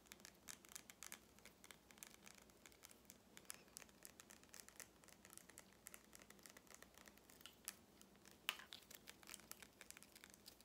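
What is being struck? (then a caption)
Small plastic lip gloss tube with a metal cap. Fingernails tap and scratch the metallic cap and plastic body of a small lip gloss tube with red gloss, held up close. The sound is a quiet, dense run of bright, crisp clicks and scratchy rasps with almost no low end, each tick dying away instantly, with one sharper tap standing out near the end.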